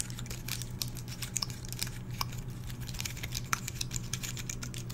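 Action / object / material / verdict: scrape / pine cone with woody scales / wood / none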